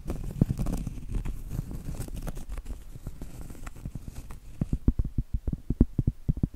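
Long acrylic nails scratch and tap the face of a round, flat, solid cork trivet held upright. For about four seconds there is a soft, dull, continuous scratching with light muffled pats. After that come a run of separate short, low, thudding taps that die away almost at once.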